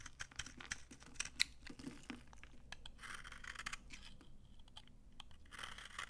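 A hand-sized, dry, solid yellow vintage soap bar held in the palm is shaved with a red-handled utility knife, peeling off dry flakes. Quiet, crunchy scraping strokes come in bright bursts with short clicks, pausing between passes.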